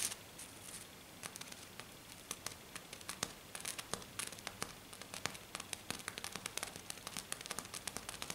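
A hand with black nails taps and scratches very fast on a flat, silver glitter-covered sheet. Rapid, crisp ticks and scratchy rasps come in quick, uneven bursts, with a bright, high-pitched texture. Each sound is short and dry with no ringing, over a quiet background.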